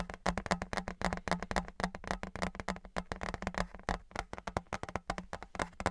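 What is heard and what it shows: Fingertips and nails tap and knock on a thin, flat, embossed metal Patriots souvenir license plate held in both hands, then tilted to one side. The result is a rapid, irregular stream of many short, dry clicks and knocks that die away almost at once. A steady low tone sits near 180 Hz underneath.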